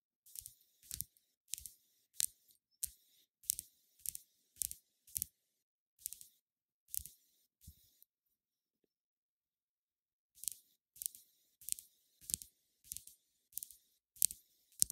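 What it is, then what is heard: Plastic makeup pencil. Long nails tap and scratch a slim white plastic cosmetic pencil or brush handle. They make quiet, crisp, high-pitched clicks in an uneven rhythm, with no low-end body. The tapping pauses for about two seconds midway, then picks up again.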